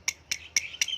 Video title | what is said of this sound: งานซ่อมบำรุงข้อเหวี่ยงเวฟ 125 - Tom Racing | คือการหลวมนะครับการหลวมสลักรวมลูกปืนหลวม